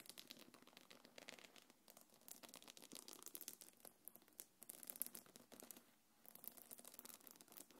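Long nails scratch and rub the body of a small, hollow, quilted black leather-look belt bag. The result is a quiet, steady stream of bright, crackly scratching with rapid overlapping strokes. There is a brief lull just before the rubbing resumes near the end.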